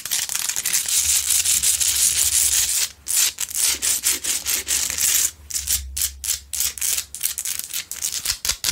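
Long pointed acrylic nails scratch across the rough crystalline surface of a large, solid pink Himalayan rock-salt lamp lit from inside, making a bright, dry, hissing rasp. The scratching runs as one steady sweep for about three seconds, then breaks into quick, uneven strokes at roughly two to three per second. A faint low hum sits underneath throughout.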